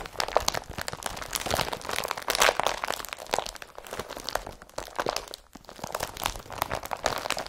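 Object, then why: Woven polypropylene carrier bag. A blue IKEA BRATTBY woven polypropylene carrier bag, empty, is scratched with the nails and then crumpled by hand. The result is a continuous stream of dry, bright crinkling and crunching with sharp crackles and brief pauses, little low end, and no ringing.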